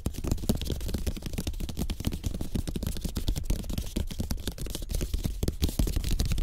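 Fingertips and short nails of both hands tap quickly on the slats of a rolled-slat bamboo placemat made of thin bamboo sticks, lying flat. The result is a steady stream of rapid, dull, hollow clicks that are heavy in the low end and die away almost instantly.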